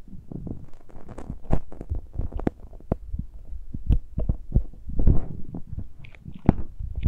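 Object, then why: Metal mesh microphone grilles on a handheld recorder. Fingertips and nails scratch and tap the uncovered metal mesh grilles of the small X-Y microphone capsules on a handheld Tascam recorder. The result is a steady run of close, muffled thumps and rubbing rasps, heavy in the low end, with occasional brighter scratchy flicks.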